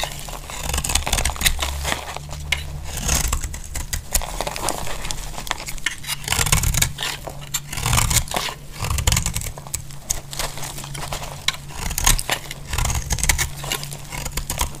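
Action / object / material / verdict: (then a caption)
scrape / bar of soap shaved with a blade / soap / none. A utility-knife blade shaves many flakes from the edges of a solid, dry pink bar of soap held in the hand. The result is a dense run of crisp, bright scraping and crackling strokes over a steady low hum.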